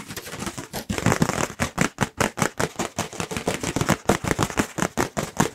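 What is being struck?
Thin paper plate.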